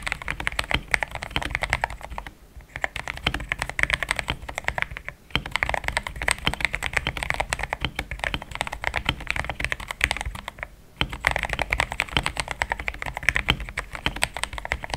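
Fingertips of both hands type steadily on a compact pink-and-cream plastic mechanical keyboard with thick XDA-profile keycaps, Gateron Yellow switches and a polycarbonate plate, sitting on a desk mat. Dense streams of short, bright, clacky keystrokes die away almost instantly, with brief pauses near 2.5, 5.2 and 10.8 seconds.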